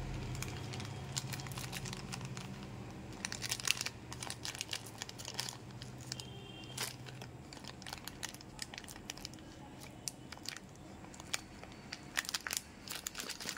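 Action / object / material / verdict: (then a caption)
scrape / plastic foil candy pouch / plastic foil / none. A small pink Amul Choco Poco plastic and foil candy pouch filled with candies is held in both hands and crinkled and twisted with the fingertips as it is opened. The result is dense, bright crinkling with many sharp crackles and short tearing snaps, over a low rumble that fades after the first few seconds.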